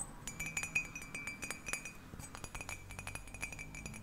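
A cat-shaped ceramic mug is tapped quickly, giving a rapid run of bright, short clinks with a high ringing tone that fades almost at once. The taps come in quick, uneven bursts and stay fairly quiet throughout.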